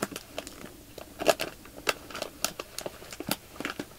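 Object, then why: Clear plastic bag filled with polyester fiber fake snow. Fingertips press a clear plastic bag full of white polyester fiber fake snow, crinkling the plastic film along its length. The result is a quiet string of short, sharp crackles and crinkles with bright, high detail, and almost no low end.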